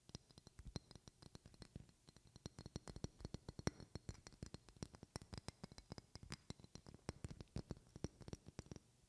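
A medium glass perfume bottle with a flower decoration and a silver cap is held close and tapped and scratched with long painted fingernails. A quiet, rapid, uneven stream of short clicky taps is heard, each with a soft low thump and a bright tick that dies away almost instantly. Faint scratching runs between the taps.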